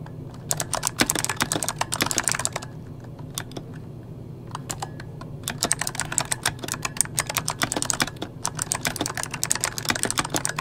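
Fingertips of both hands type on an RGB-backlit mechanical keyboard with plastic keycaps, making rapid, bright, sharp clicks over a low hum. The typing comes in dense bursts, with a sparse lull in the middle and a brief pause near the end before it picks up again.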